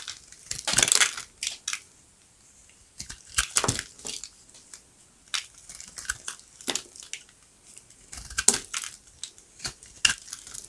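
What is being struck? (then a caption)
Bar soap scraped with a blade. A steel utility-knife blade scrapes and cuts thin curls off a solid beige rectangular bar of dry soap, with remnants of green wrapper, held in a palm. Repeated short, crunchy shavings come in bursts, bright and dry with almost no low end and no ring.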